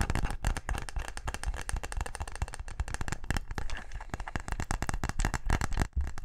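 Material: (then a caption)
Wood. A small brown wooden box-shaped case, closed and held up, is tapped fast with fingertips and nails. The result is a dense, steady stream of dry, clicky knocks with a hollow low thump and almost no ring, broken by a brief pause near the end.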